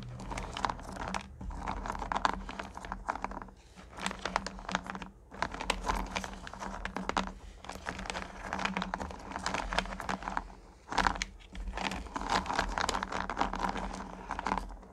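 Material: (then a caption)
Candy, plastic. Long-nailed fingers dig and rake through small solid pumpkin candy corn in a purple plastic pail. The result is a dense, crunchy clatter and rustle that comes in repeated bursts, with brief pauses between handfuls, over a faint steady low hum.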